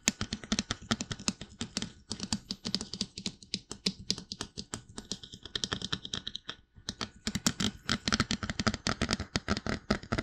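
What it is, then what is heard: Plastic dummy head tapped with fingertips. Fingertips rapidly tap the sides and top of a life-size glossy white plastic mannequin-style binaural dummy head, likely hollow, which serves as the microphone itself. Dense streams of crisp, dry, clicky taps sound close and bright over a low hollow thump. The tapping pauses briefly around the seven-second mark, then resumes a little louder.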